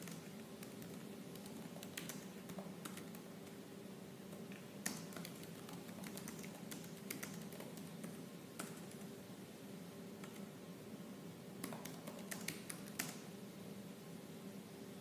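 Fingertips with purple nails type slowly on the black plastic keys of a silver laptop keyboard. Soft, irregular clicks and taps, some sharper and brighter, sit over a quiet, steady low hum.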